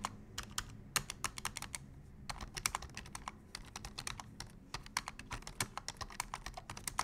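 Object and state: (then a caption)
Plastic computer keyboard being typed on. Both hands tap with their fingertips on the keys of a black plastic full-size computer keyboard. The result is a quick, uneven run of sharp, bright key clicks with short pauses between bursts. Each click dies away almost at once over a faint low hum.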